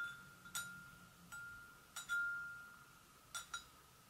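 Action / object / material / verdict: tap / porcelain gravy boat / porcelain / none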